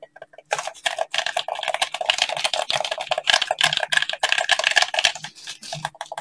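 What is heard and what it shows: Gloved fingertips tap and click on a hollow, hand-sized black plastic gamepad. After a brief quiet start, a rapid, dense run of dry, bright plastic clicks and taps follows, each dying away almost instantly with no low rumble.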